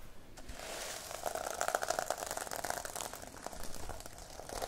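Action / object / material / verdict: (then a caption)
scrape / plastic sequin notebook cover / plastic sequins / none. Long painted nails and a palm brush and scratch across the reversible plastic sequin cover of a small rectangular notebook held in hand, flipping the sequins. The result is a dense, continuous crinkly scratching with quick bright clicks and a faint mid-pitched tone, steady in level with small peaks throughout.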